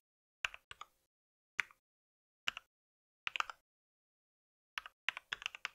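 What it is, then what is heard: Plastic mechanical keyboard. Fingertips of both hands type on a compact white mechanical keyboard with plastic keycaps, brown switches and a solid body. Sharp, bright plastic clacks with almost no ring-out come in small clusters separated by silent pauses. The clip ends in a quicker flurry of taps.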